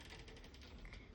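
A small cast-metal Buddha amulet (phra kring) is shaken by hand, and its loose core piece inside rattles. The result is a quick, steady run of light, dry clicks and ticks over a low rumble. The rattle shows the core is present inside the amulet, which is not opened.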